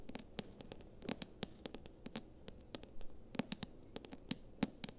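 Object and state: Paperback book tapped with nails.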